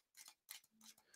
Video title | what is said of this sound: How to Make Cardboard Crafts HARD and STRONG After They are Finished (the Cheap way) | it sounds like when I tap it with my fingernails, a very hard, glossy surface